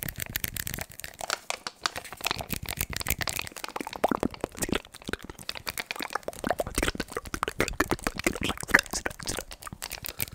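A handheld adhesive paper lint roller with a blue plastic handle and a white sticky paper roll is held close to the microphone and pressed and rolled against the fingers and palm. It makes a rapid, continuous stream of crisp, crackling peeling and sticky sounds, bright and dry with little low end.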